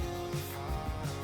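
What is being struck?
Nothing is struck.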